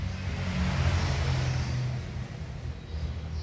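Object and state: Nothing is struck.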